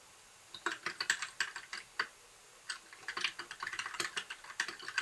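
Fingertips type on a compact white backlit mechanical keyboard with plastic keycaps. After about half a second of silence, a steady run of short, bright clacks follows. Each is crisp and dry with almost no low end, and there is a brief pause near the two-and-a-half-second mark.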